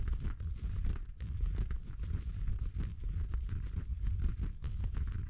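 Fingertips scratch and rub the fabric of a red felt Christmas stocking with a white faux-fur cuff, soft, hollow and apparently empty. The result is a steady, muffled, low scratching and rustling with brief brighter flicks of texture, continuing without clear pauses.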